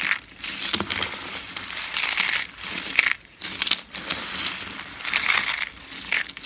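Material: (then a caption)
Soap. A pile of thin, hollow, multicolored dry soap shavings curled into rolls is crushed and crumbled between fingertips and palms by hands with painted nails. Dense, bright, crisp crunching and crackling runs almost continuously, dropping briefly to near-silence around the middle before resuming. The crackle is sharp and dry, with almost no low end.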